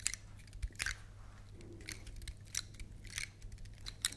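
Long nails scratch across the woody scales of a large, solid, dark brown dry pine cone held between microphones. The result is a series of short, bright, crisp scratchy clicks and rasps with almost no ring, over a steady low hum.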